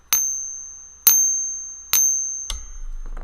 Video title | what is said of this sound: Ask Yankee...About SILVER & GOLD🥈🥇 #SpotPriceDrop #SilverGiveaways | hear that ... that is not the sound of an american silver eagle